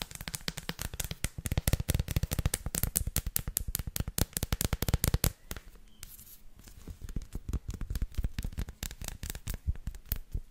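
Long nails tap the edge and scratch the dotted face of a solid dark chocolate bar, smooth on the back and dotted on the front, which is flipped over in the hands. Rapid, dry, low-heavy clicks and scratches run densely for about five seconds, ease into a quieter stretch, then pick back up.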